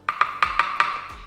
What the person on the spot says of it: To knock on it, the sound is sharp and loud.